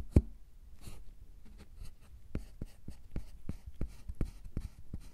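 Two wooden-handled metal carving tools scratch and carve grooves into the top of a solid milk chocolate bar, raising shavings. A sharp tap opens the clip, followed by soft, dull scraping strokes and short, muffled clicks as the blades cut into the chocolate.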